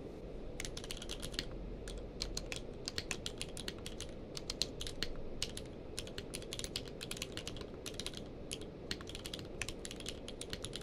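Both hands type rapidly with their fingertips on a full-size plastic mechanical keyboard with a blue-grey case and white and grey plastic keycaps, resting on a blanket. The keys give dense bursts of sharp, bright clicks with very short decay over a steady low rumbling background.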